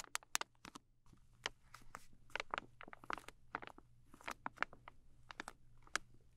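Long nails tap and scratch the flat front of a soft plastic film pouch of makeup remover wipes, filled with moist wipes and held in both hands. Quiet, sharp, bright clicks and crinkly scratching patter irregularly over a faint low hum, each tap dying away almost instantly.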